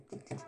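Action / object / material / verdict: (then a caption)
tap / bedside table / unknown / none. Two soft taps on a new bedside table, each a short, dull knock with a low tone around 130 Hz that fades quickly.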